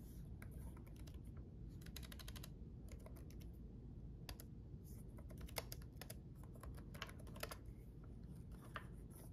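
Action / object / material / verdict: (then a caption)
tap / plastic laptop keyboard keys / plastic / none. Both hands type with their fingertips on a red-backlit laptop keyboard with plastic chiclet keys, the keystrokes coming sparsely. Quiet, short, bright clicks and taps rise in irregular clusters over a steady low background hum, with a few sharper strokes standing out.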